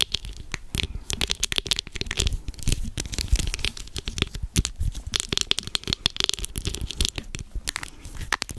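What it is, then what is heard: Plastic bottle. A white plastic bottle held close to the mic is tapped and scratched with long acrylic nails. Rapid, crisp clicks and scratchy rasps crackle over soft low thumps, each tap dying away almost at once.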